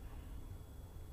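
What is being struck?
Nothing is struck.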